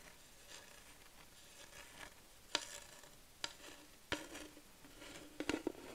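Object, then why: Flat wooden plaque. Long nails slowly tap and scratch across a flat wooden plaque sign. Six sharp, short taps ring out clearly, with soft, bright scratching and rubbing between them. The sound stays quiet, close and dry.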